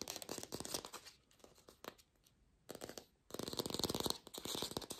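An artificial plastic green apple is fast-tapped without a microphone, giving a lo-fi recording. Quick, crisp, dry clicks come in dense bursts separated by short near-silent pauses, with a bright, high-leaning tone.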